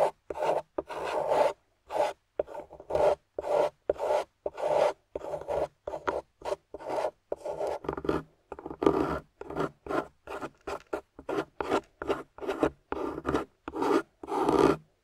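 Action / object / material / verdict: scrape / plaster dig-kit block scraped with a metal tool / plaster / none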